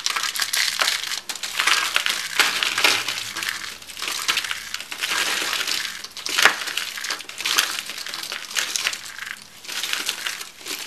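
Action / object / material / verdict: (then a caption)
scrape / soap shavings / soap / none. Hands crush thin, brittle, bright green soap shavings rolled into coils in their fists, scattering flakes. A continuous dry, crackling crunch with many sharp, bright snaps fills the clip, with almost nothing in the low end.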